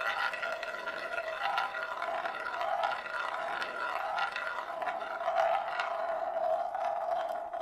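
A single glass marble rolls in circles on the inner surface of a large, shallow, hollow bamboo plate, empty and held in both hands. The sound is a continuous hollow rolling drone with a steady resonant tone around 680 Hz that swells and fades as the marble circles. It is marked by frequent small clicks and rattles, with a faint bright edge.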